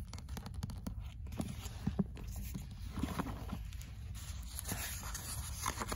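Long fingernails touch the cover of a paperback book, then the book is opened and the nails lightly scratch across its printed paper pages. Soft, dry scratching and brushing sits over a steady low rumble, with a few faint taps and brighter papery rasps.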